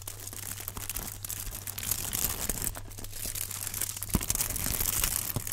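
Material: Aluminum foil.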